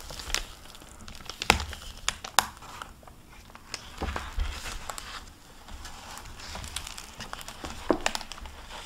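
Fingertips with painted nails open a hardcover library book lying on a wooden table and turn its paper pages, crinkling its plastic-covered paper dust jacket. Crisp, bright crinkles and sharp crackles come in quick irregular bursts over soft papery rustling and a faint low rumble. Each snap dies out almost instantly.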